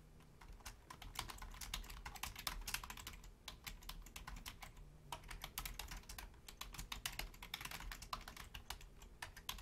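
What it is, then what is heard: Plastic computer keyboard. Rapid key taps with long fingernails and fingertips of both hands on a full-size black plastic Logitech membrane keyboard with a hollow housing. The taps are dense, short, bright clicks that rise and fall in bursts, over a quiet steady low hum.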